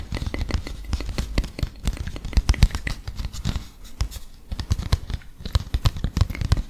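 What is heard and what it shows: A small folded printed paper leaflet is handled and scratched with fingertips and nails. It makes a dense run of quick, soft scratching and crinkling strokes with dull low thumps and brief bright paper hiss, each stroke dying away almost at once.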